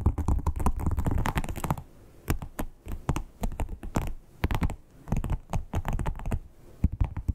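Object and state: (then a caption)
Leather wallet tapped with fingernails. Long acrylic nails tap rapidly on a flat red croc-embossed, crocodile-textured leather wallet. A dense, fast run of dry, low-heavy clicks lasts almost two seconds, then breaks into shorter bursts of taps and soft scratching with brief quiet gaps. Each tap is short and dead, with no ring.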